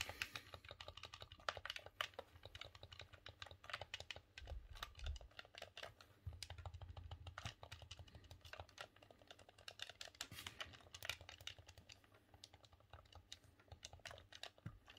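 A green, hollow plastic Nintendo 64 game controller is held in both hands while the thumbs rapidly click its buttons and D-pad. The result is a dense, continuous stream of sharp, bright plastic clicks that die away almost instantly, over a steady low hum.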